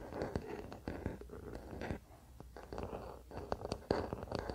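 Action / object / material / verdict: scrape / wooden paddle hairbrush back / wood / none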